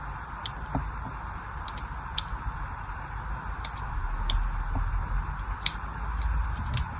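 A small blade scores lines across a solid pink-and-white striped glycerin soap bar held in the hand. It makes short, crisp, bright ticks at an uneven pace over a steady low rumble and a soft midrange hiss.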